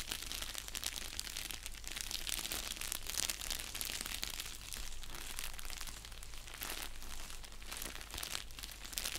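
An orange padded bubble mailer envelope, flat and hollow, is crinkled and scratched with fingers and nails. Dense, bright crinkling and scratchy crackles run steadily throughout over a constant low hum.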